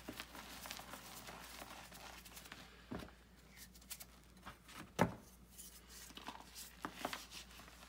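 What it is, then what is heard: Gym chalk crumbled by hand. Bare hands crumble pieces of gym chalk (magnesium carbonate) and let the powder fall back into a white bucket, then press into the powder bed, crushing and rubbing it. Quiet, dry, gritty crunches and soft crinkly rustling repeat throughout, with one sharper, louder crunch about five seconds in.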